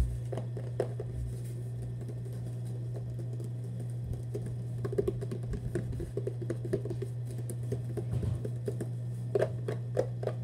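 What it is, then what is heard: Cardboard shoebox. Fast fingertip and nail tapping on the top end and side of a hollow Vans cardboard shoebox held upright. The soft, dull, hollow taps patter in quick bursts with a few sharper knocks. A steady low hum runs underneath throughout.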